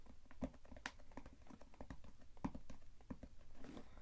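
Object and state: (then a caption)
Cardboard box. A closed, hollow white cardboard shipping box, about shoebox size and printed "ZOE BOX skincare," is held and tapped and scratched with long acrylic nails and fingertips. Quiet, dull, low hollow taps come in a quick irregular stream, each dying away almost at once, with a soft scratchy rustle near the end.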